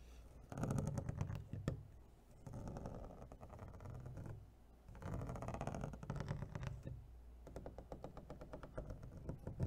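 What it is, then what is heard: Clear plastic clamshell food container. Long fingernails tap rapidly on the flat lid and ridged rim of an empty, hollow clear plastic clamshell food container held up in the air. Quick, dry clicks run together into a dense, hollow-sounding patter with a low body, swelling into two louder flurries between quieter stretches. Each tap dies away almost instantly.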